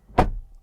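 A Mercedes EQB car door is shut from the inside, giving a single solid, low thud with a brief muted resonance that dies away quickly. The closing sound is solid.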